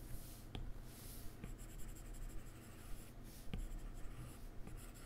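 A plastic-tipped stylus held in the fingers draws strokes across the glass touchscreen of an iPad lying flat and solid on a keyboard, making soft scratchy rubbing sounds. Four light, short taps stand out among the strokes, all quiet over a steady low hum.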